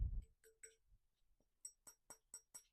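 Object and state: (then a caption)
Aluminum bicycle frame, metallic. An aluminum bicycle frame is tapped for comparison. After a few softer knocks, a quick run of five sharp, bright metallic taps follows, each dying away almost at once. It sounds like metal.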